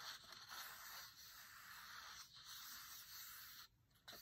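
Fingertips and nails rub steadily across a paper page, giving a dry, breathy scratch that sits mostly in the high range with almost no low end. It breaks off briefly near the end, then resumes. The soft, grainy hiss comes from matte paper.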